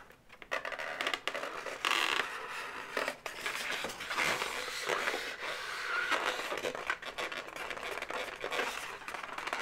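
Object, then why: Inflated latex balloon animal. Long nails scratch and squeeze the head segment of an inflated, hollow pink latex balloon dog. The result is a dense run of bright, squeaky scraping and rubbing with occasional high squeals and almost no low end.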